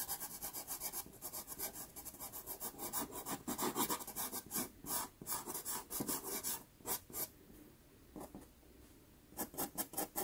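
A white pastel pencil tip makes fast hatching scratches on a small, taped, sienna Pastelmat card. Rapid, bright, raspy strokes run in quick bursts, thin out to a few sparse scrapes in the middle of the second half, then pick up quickly again at the end.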